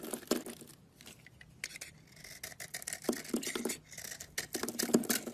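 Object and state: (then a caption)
Bar soap being carved. A utility knife shaves and carves a solid cream oval soap bar held in the palm, peeling off curls and chunks. Crisp, dry scraping strokes come in quick, uneven bursts with a bright, hissy edge and a light mid-range body. Each cut stops short with almost no ring.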